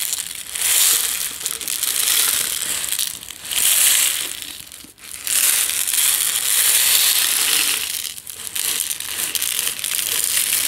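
A medium plastic jar with a yellow lid, partly filled with instant tea granules, is rotated and shaken in both hands. The granules make a dense, bright, hissing rustle with almost no low end. It swells and fades in waves, with brief near-silent dips as the jar changes direction.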